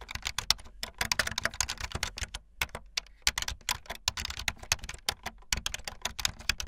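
Fast typing on a full-size backlit plastic Bluetooth membrane keyboard with white and blue plastic keycaps and a hollow plastic body, the keys pressed with fingertips and the tips of long painted nails. A dense, uneven stream of short, dry, bright clacks and taps runs throughout, broken by a few brief pauses, each keystroke stopping almost instantly.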